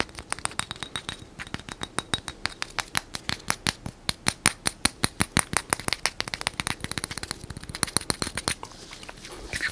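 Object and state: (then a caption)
Plastic bottle tapped with fingernails. Fingernails tap and scratch along a small translucent plastic bottle or tube with green contents, close to the microphone. A rapid, steady run of sharp, bright clicks with very short decay rises and falls in loudness, with a soft scratchy hiss between the taps.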